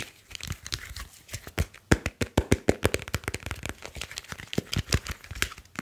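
A grey smartphone with a glass screen and metal back is gripped in both hands while fingers rub, squeeze and tap its casing. The result is a rapid, irregular run of short, dry crinkling and crackling taps with low thumps, plus brief bright clicks that die away almost instantly.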